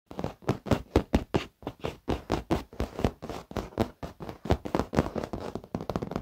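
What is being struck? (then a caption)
Padded leather chair back. Fingertips and short fingernails of both hands tap and scratch the padded, soft backrest and top edge of a black leather office chair. A quick, uneven run of soft, dull taps and brief scuffs follows, mostly low and muffled with very little brightness. Each sound dies almost instantly, with no ring.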